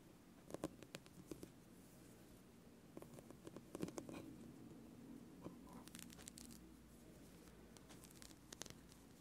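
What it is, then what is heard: Rubber spiky massage ball. A small, hollow orange spiky rubber massage ball is held over a bamboo board and squeezed and rubbed by the fingertips of both hands. Quiet, dense rubbery scratches and soft crinkling patter carry over a low steady hum, with short bright ticks scattered throughout.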